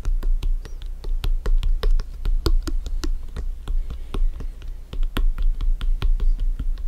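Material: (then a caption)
Synthetic leather. Fingertips and nails tap and scratch a hollow, inflated blue France soccer ball with synthetic-leather panels resting on a black surface. About 29 quick, irregularly spaced taps come through as dull, low thuds with bright clicky edges that die away almost at once. A steady low rumble sits underneath.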